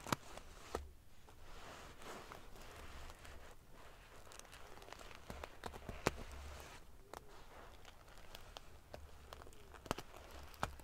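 Fingers and long nails ruffle the rows of silver metal pieces on a large padded metal-sequin fabric pillow, making a soft, continuous crinkly rustle. Sharp, bright clicks stand out at irregular moments, over a steady low rumble.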